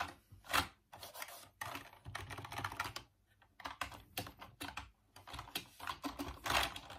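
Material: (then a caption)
Plastic. Fingertips type and tap on the plastic keys of a full-size off-white Dreamcast computer keyboard resting on a wooden desk. Quiet bursts of dry, bright plastic clicks and clatter come in quick runs separated by short pauses, with each tap dying away almost at once.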